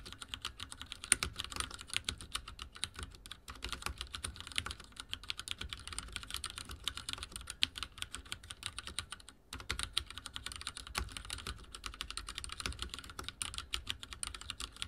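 Fingertips type fast on a backlit mechanical keyboard with dark plastic keycaps, producing a dense, steady stream of bright, sharp clicks and clacks with very short decay. The typing pauses briefly around the middle, then continues at the same quick pace.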